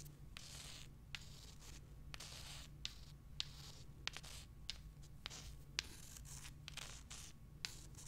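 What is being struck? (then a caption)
Small limestone rocks. Long nails scratch and rub across the surface of small, solid limestone rocks held close, making repeated bright, hissing scrape bursts broken by short gaps. Sharp little clicks punctuate the strokes, over a steady low hum underneath.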